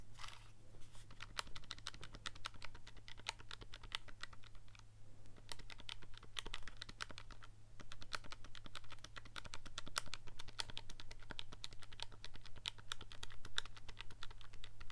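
A thumb rapidly presses and clicks the number buttons of a handheld black plastic scientific calculator with a hollow casing, held in one hand. The result is a dense, steady stream of short, bright clicks with almost no ring, over a constant low hum.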